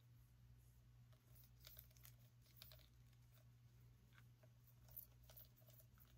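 Long nails scratch along the ribs of a small orange pumpkin, making quiet, dry, crinkly scrapes with short bright bursts. A steady low hum runs underneath throughout.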